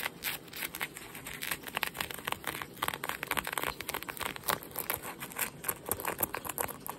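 Fingertips and nails scratch and rub blue denim jeans with metal buttons, worn on the body, near the waistband and pocket. A dense, rapid run of short, dry, bright scratching strokes with rough crinkly texture, rising and falling in intensity throughout with very little low end.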